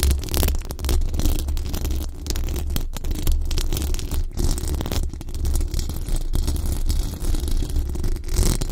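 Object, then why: Metal mesh microphone grille. Long acrylic nails on both hands scratch quickly across the hollow, dome-shaped metal mesh grille of a large condenser microphone. The result is a dense, continuous scratching and rustling with a heavy, booming low rumble underneath and thin, bright scraping on top. The level stays fairly steady throughout.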